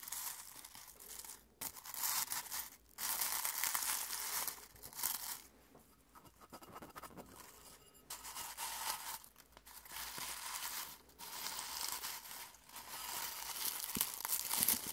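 Fingertips pinch, stir and crush dry rose petals in a clear glass bowl held in one hand. Bright, dry crinkling and crunching comes in bursts, separated by short quiet pauses.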